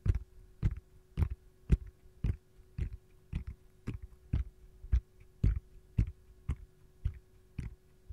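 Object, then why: Silicone ice cube tray. Long gold-painted nails tap and scratch the back of an empty, hollow, palm-sized round yellow silicone ice cube tray shaped like a lemon slice, with a hole in its center. A steady series of soft, dull, low thuds with very short decay is heard, with light scratchy bits between the taps.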